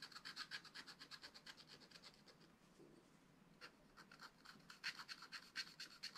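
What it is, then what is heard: Scratch-art paper being scratched. A wooden stylus scratches tree trunks into a flat, black-coated card on a spiral-bound scratch-art pad, making quick, bright rasping strokes in a steady rhythm. The scratching quiets and nearly stops for about a second midway, then resumes with sharper, louder strokes.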